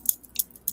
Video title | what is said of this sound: Cannabis, Smokes and Jokes w/ Indian Cheech and Chong | The way the band sounds when I'm like shaking it around, like you can hear it's more solid